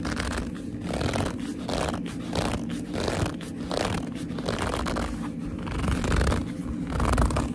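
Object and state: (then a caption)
Leather handbag squeezed and gripped. Fingers grip and squeeze the top edge of a hollow black leather handbag, making repeated squeaky leather sounds. The squeezes come in a steady, continuous run of rubbing and creaking, heavy in the low end with little high brightness.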